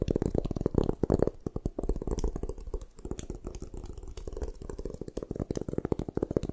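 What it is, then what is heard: Gym chalk block. Long nails scratch and tap rapidly across the faces of a solid white gym chalk block held in the hands. The result is a dense stream of short, dry, muffled clicks and scrapes that sit mostly in the low and low-mid range, with each tap dying away almost instantly.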